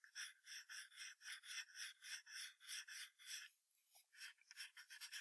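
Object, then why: Graphite pencil on paper sheet over hardboard. A wooden graphite pencil makes fast hatching scratches near the tail of a drawing on a thin sheet of white drawing paper taped to a hardboard clipboard. About 17 dry, bright rasping strokes come in a steady back-and-forth rhythm, with almost no low end. After a brief softer pause, the strokes resume quicker and shorter.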